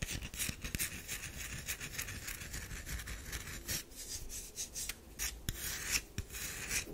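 Long fingernails scrape and rub across the powdery, scratched surface of a solid tan DURU bar soap. The result is a continuous bright, raspy scratching with a steady texture, dotted with quick sharp scrapes throughout.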